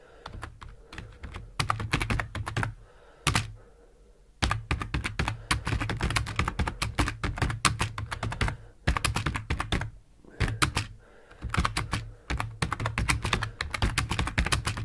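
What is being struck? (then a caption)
Plastic computer keyboard. Both hands type fast with the fingertips on a black plastic full-size keyboard, giving quick bursts of thunk-like keypresses on hollow plastic keycaps. The clicks are short and low-heavy with a brighter tick on top. Brief pauses break the typing, notably around 4 and 10 seconds.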